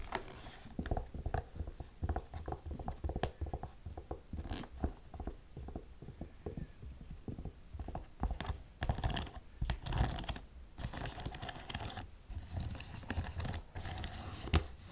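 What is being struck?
Faux-suede ankle boot with metal studs.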